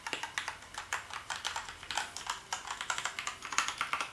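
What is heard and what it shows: Fingertips type rapidly on a black plastic gaming keyboard, giving about 29 sharp, bright clicks in quick succession. Each keystroke is crisp and dies away almost at once, with almost no low end.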